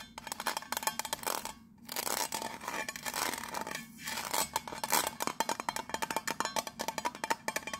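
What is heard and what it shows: Long nails tap and scratch the raised pattern on the embossed gold lid of a round, hollow metal tea tin held in the hand. Quick, bright clicking taps carry a faint metallic ring near 900 Hz, broken by brief pauses and stretches of dry, raspy scratching. The taps speed into a dense rapid patter toward the end.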